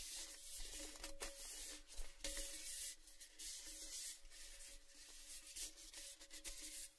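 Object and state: Empty metal gift tin.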